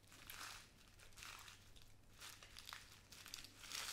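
A small clear plastic bag with a white cardboard header, full of pink glass seed beads, is held in both hands and crinkled, squeezed and shaken with long nails and fingertips. Soft, bright crinkling swells in repeated waves, with the beads shifting and rattling inside and a faint low hum underneath.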